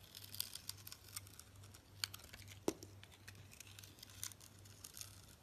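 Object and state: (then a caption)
Glitter-crusted soap bar being scraped. A utility knife blade scrapes the green glitter or sugar crust off a solid orange soap bar held in a hand with long nails, exposing the orange soap underneath. Quiet, bright, crinkly scratching comes in irregular bursts, with one sharper, louder click partway through, over a faint steady low hum.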